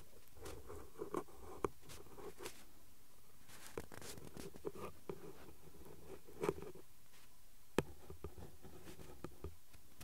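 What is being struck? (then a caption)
Printed cardboard card with pen tip. A ballpoint pen tip taps and traces along the lettering of the flat printed cardboard card from a glue stick blister pack. Quiet, dry clicks and quick scratches come at irregular moments, with a dull low-mid tone and almost no high content. Each tick dies away instantly.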